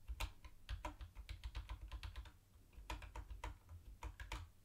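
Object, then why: Plastic keyboard with round plastic keycaps. Fingertips of one hand tap keys on a mint-green plastic retro keyboard with round white plastic keycaps. Quick, dry, clicky keystrokes come in an uneven run, pausing briefly midway before resuming, over a steady low hum.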